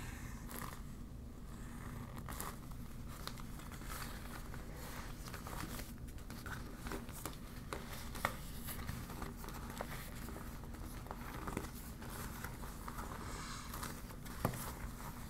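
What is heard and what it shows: A deflated yellow PVC vinyl beach ball is squeezed in a fist and scratched with long black nails, crinkling the plastic. Soft, continuous crinkling and scratching sit over a steady low rumble, with a few sharper, brief clicks standing out. The sound stays quiet and close throughout.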